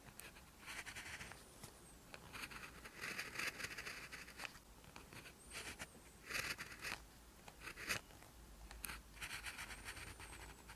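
An orange ballpoint pen tip, held in the fingers, scratches across a lined paper sheet while writing Korean handwriting in one continuous writing action. Bright, dry scratching strokes come in short bursts separated by quiet pauses, with occasional faint high squeaks from the pen tip.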